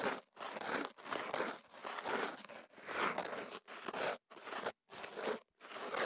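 A thin stick is rubbed and scraped inside the opening of a tube of kenaf paper wrapped around a small microphone. It makes a series of dry, crinkly, sanding-like scratching strokes separated by short pauses. The scratches are broadband and papery, centered in the midrange with bright high hiss and almost no low end.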